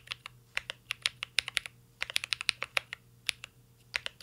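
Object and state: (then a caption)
Mechanical keyboard being typed on. A mint-green Cyberboard R3 mechanical keyboard with plastic keycaps and an aluminum case is typed on continuously, fingertips tapping the keys. About two dozen short, bright, crisp clicks come in an uneven rhythm over a faint low hum, each dying out almost instantly.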